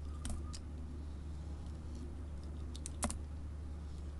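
A craft knife blade shaves and scrapes curled strips off a small, solid, rectangular bar of layered orange and red soap with a gold glitter strip, held in the hand. Faint, crisp scraping ticks and brief bright shaving sounds come and go over a steady low hum, with a slightly stronger scrape near the end.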